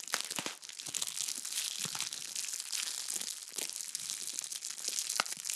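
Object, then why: Clear plastic bag filled with bead slime. A small clear plastic bag full of purple crunchy bead slime is held in front of the microphone and squeezed and crinkled with fingertips and long nails. A steady, bright stream of crinkling plastic and crunching beads is heard, with sharp snaps scattered throughout.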